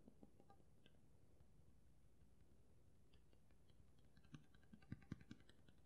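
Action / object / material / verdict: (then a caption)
tap / steel kitchen knife blade / steel / none. Fingertips and nails tap along the solid steel blade of a black-handled kitchen knife held upright and tilted. The result is a run of soft, dry clicks with a low, dull body that die away almost at once. The taps stay faint and sparse through most of the clip, then a few sharper, louder taps cluster near the end.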